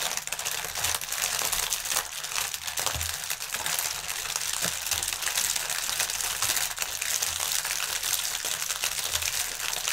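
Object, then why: Inflated plastic air cushion packaging. Both hands press and crinkle a strip of clear, inflated plastic air-pillow packaging with their fingertips on a table. The result is a dense, continuous, bright crinkling that holds steady for the whole clip, with a few faint low thumps underneath.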